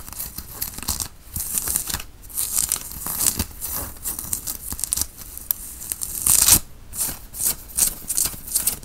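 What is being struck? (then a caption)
Cotton t-shirt fabric. A white printed cotton t-shirt, being worn, is scratched with the fingertips and nails and pulled taut by hand. Bursts of dry, bright rasping and fabric scraping come and go in uneven waves, with the loudest stretch near the middle of the second half.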